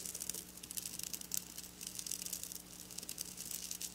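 Long black nails slowly scratch and trace over silver sequin fabric lying on a table. The sound is a quiet, continuous patter of crisp, bright ticks and rattles as the sequins catch and flip, over a faint steady low hum.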